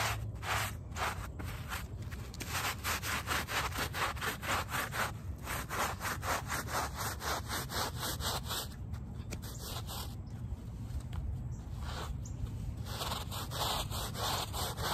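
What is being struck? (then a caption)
Woven fabric rug backing scrubbed with a plastic bristle brush. A handheld plastic bristle brush scrubs back and forth across the back of a small, wet, soapy, muddy woven fabric rug lying flat on pavement, while the other hand holds the rug in place. Steady, rhythmic rasping strokes repeat about twice a second, with a bright, wet hiss over a low rumble throughout.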